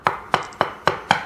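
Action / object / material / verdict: tap / ceramic floor tile on concrete slab / ceramic / hollow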